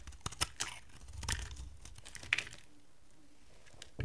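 A hand-sized, solid purple rectangular soap bar is carved with a utility knife blade into dry flakes. Sharp, crisp scraping and crunching cuts come in uneven bursts with a bright edge and a soft low rumble, then fade to quiet handling before a final cut.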